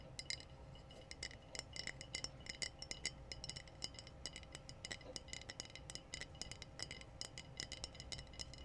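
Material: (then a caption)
Glass. Glass bottles are tapped in a quick, irregular run of bright clinks. Each tap gives a short, high ringing ping around 2 kHz that dies away almost at once, over a steady low background hiss.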